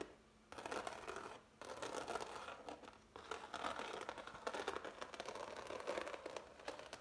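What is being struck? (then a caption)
Oil paint on canvas. Fingertips and nails scratch and rub the thick, ridged paint strokes of a medium-large framed impasto oil painting on canvas. A dense, crackly, dry scratching fills most of the clip, mainly in the midrange with almost no low end. It comes in bursts separated by brief quiet gaps near the start, around 1.5 seconds and just after 3 seconds.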